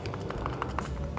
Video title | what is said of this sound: Perbandingan 3 Powerbank Murah 10.000mAh I Bagus Yang Mana? | ini akan goyang dan berbunyi nih klok klok klok